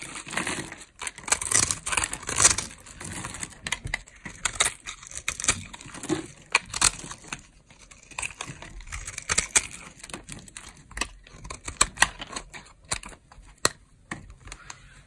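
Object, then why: Bar of soap scraped with a blade. A metal blade scrapes the scored cubes off a dry, old green bar of solid soap held in a hand with long nails. The result is a dense run of crisp, bright crunching and crackling scrapes, each snap short and dry with almost no low end.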